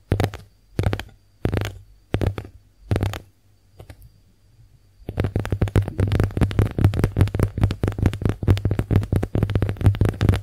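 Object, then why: Konjac face sponge tapped and scratched with long nails. Long acrylic nails tap and scratch a pink, heart-shaped, porous konjac face sponge. A few separate soft, muffled bursts with pauses between them give way to a dense, continuous run of quick taps and scratches. The sound is dull and low, with little bright edge.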